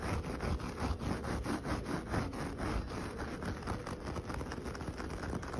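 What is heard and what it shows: Short fingernails and fingertips scratch back and forth across the bristly fibres of a flat, solid coconut-fibre (coir) doormat with dyed rainbow stripes lying on the ground. The result is a steady, rough, low rustling made of repeated quick strokes with little ring after each.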